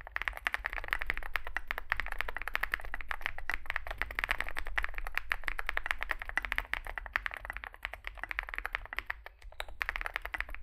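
Fingertips type continuously on a small Zoom65 65% mechanical keyboard with a dark case and white and grey SA plastic keycaps. A rapid, steady stream of short, dry plastic clacks centers around 1.9 kHz with a bright edge, over a constant low hum. Each keystroke dies away almost instantly.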